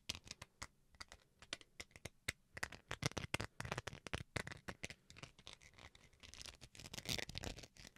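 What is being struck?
Small plastic rice paddle.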